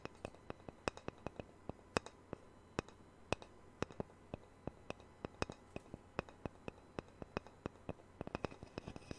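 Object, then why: Thin round wooden disc (guitar sound-hole cutout). A small, thin, solid round wooden disc cut from the sound hole of a Taylor guitar is held up by hand and scratched and tapped with fingernails. It makes a quiet, steady run of about 42 sharp, dry clicks and taps with bright edges and almost no ring, over faint scratching and a low steady hum.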